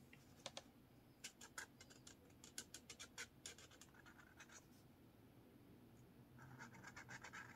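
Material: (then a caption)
Paper. A blue felt marker scratches and draws lines on a lined paper page of a spiral notepad. Quick, bright, dry scratches come in short bursts with brief pauses between them, then give way to a steadier, louder scratching stroke at the end.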